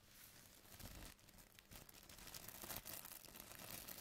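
A thin white plastic carrier bag lies on a table while fingertips pinch, rub and lift the film, crinkling it. The result is a steady, dense crackle of bright, papery crinkles that rises and falls in uneven bursts without a pause.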